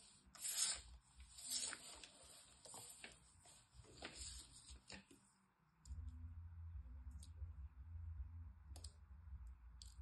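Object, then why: Kinetic sand. Bare fingertips with long painted nails squeeze, rub and break apart a loose, handful-sized mass of solid, crumbly yellow kinetic sand on a teal mat. The first half is full of bright, crisp crackles, grainy rustling and sharp clicks as the sand crumbles. After about six seconds, a steady low rumble takes over, with softer rubbing and occasional high clicks on top.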